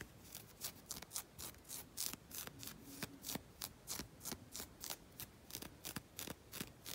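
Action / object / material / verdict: scrape / knit fabric sock / knit fabric / none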